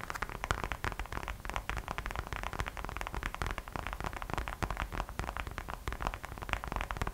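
Long acrylic nails tap quickly on the glossy gold glitter vinyl front of a small hollow gingerbread-man-shaped purse with a small gold heart charm hanging on its side. The result is a dense, steady stream of fast, light clicky taps that blur into a crackling texture, with a low hollow thump beneath each tap and very short decays.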